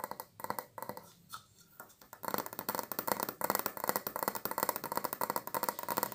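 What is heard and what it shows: A large, round, white frosted glass light bulb with a metal screw base, hollow and held in both hands, is tapped and scratched with long acrylic nails. A few sparse taps and soft scratches open the clip, then a dense, uneven run of quick, bright clicks follows, each with a very short ring centered around 950 Hz.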